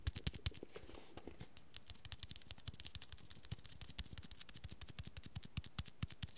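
Fingertips tap and scratch along the cover and spine of a small hardcover book with a red textured cloth cover held in the palm. A quiet, steady stream of soft, dull, low thumps comes with very short decay, threaded with faint bright scratching.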